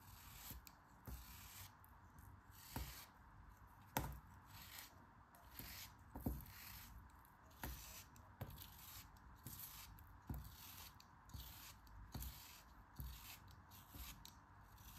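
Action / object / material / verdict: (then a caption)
scrape / block of kinetic sand cut with a metal blade / kinetic sand / none. A solid molded block of pink kinetic sand, held in fingers with long dark nails, is sliced and scraped with a metal craft knife blade. Soft, gritty crumbling and scraping alternate with a series of sharp, quick clicks as the blade cuts through. Bright, hissy grains of sand rustle between the cuts.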